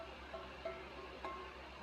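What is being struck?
Nothing is struck.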